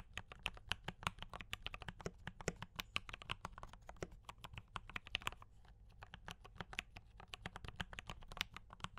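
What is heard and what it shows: Fingertips of both hands type fast on a D84 mechanical keyboard with brown switches and cream and red plastic keycaps. The result is a rapid, steady stream of short, sharp, bright clacks that stop dead. A brief lull comes near the six-second mark, all over a faint low hum.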